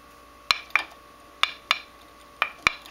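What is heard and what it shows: An abrasive grinding wheel with microfractures or cracks is tapped six times, in three pairs of quick taps. Each tap is a short, dull click that dies away almost instantly with no ringing, giving the dead sound of a cracked, bad wheel.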